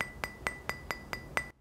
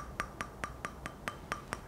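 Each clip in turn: First: Seven quick fingernail taps give a high, bright metallic tick with a thin ring near 2 kHz, typical of a vitrified whetstone. Second: Eight quick fingernail taps on a sharpening stone, each a dull, plastic-like click that dies almost at once.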